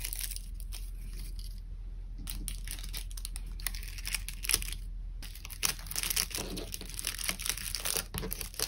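A small, thin sheet of brown kraft honeycomb packing paper lies on a desk beside other untouched packing items while bare fingertips press, fold and crumple it flat to wrap something. Dense, bright crinkling and crushing crackles run throughout, with two short near-silent pauses, over a steady low hum.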